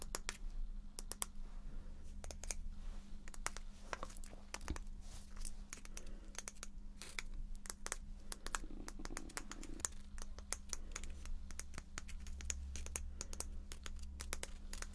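Long painted fingernails tap and scratch a small, solid, teal-painted wooden letter block, a cube marked with a black letter B. Dense, sharp clicks with very short ring ride over soft scratching and a steady low hum. The clicks carry bright high overtones.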